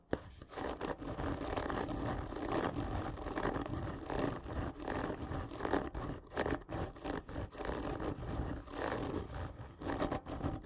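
Long nails on both hands scratch the surface of a long, hollow, black printed cardboard gift tube lying on its side. The result is a steady, rough scratching and scraping with a hollow resonance, concentrated in the low and middle range with little bright content, in rhythmic swells over about ten seconds.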